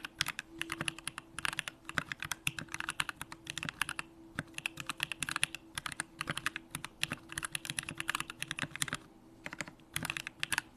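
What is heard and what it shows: A Bakeneko65 65% mechanical keyboard, with a hollow aluminum case, Durock lavender switches and pink plastic keycaps, is typed on continuously with the fingertips. Rapid, bright clacking keystrokes come in quick bursts with short pauses, each one sharp and dying away almost instantly. A faint steady low hum sits underneath.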